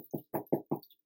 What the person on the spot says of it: sounds nice and hollow that means it's good